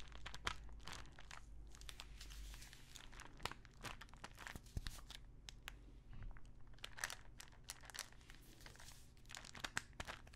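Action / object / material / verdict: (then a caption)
scrape / small plastic pill bottle with paper label / plastic / none. Long nails scratch and tap the label and body of a small clear plastic pill bottle full of pills. Dense, crinkly scratching mixes with quick, bright ticks and taps, heard quietly over a low steady hum.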